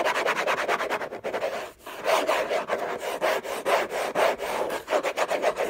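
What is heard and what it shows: Fingertips and short nails scratch and rub quickly across the lid of a large, flat, orange Hermès cardboard gift box with a textured paper surface and a hollow body. The result is a dry, papery rasp of rapid back-and-forth strokes, centered in the midrange around 650 Hz with almost no low end, briefly easing just before the two-second mark before picking up again.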